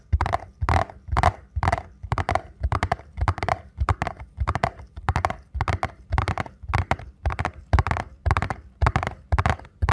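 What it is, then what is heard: Cardboard box tapped. A small printed paperboard ankle support box is held and turned in the hands while fingertips tap on its face and edges. The taps come in quick, uneven clusters of dull, hollow knocks with a low thud and almost no ring after each one.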